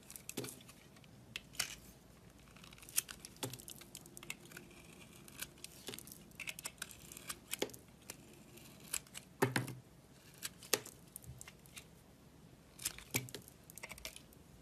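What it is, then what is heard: Bar of soap being shaved. A box-cutter blade shaves the remaining crust off a solid, translucent brown bar of soap with a red crust, held in the hand. Quiet, crisp scraping and crackling run through the clip, broken by irregular sharp, bright clicks and snaps as the blade catches and flakes the crust away.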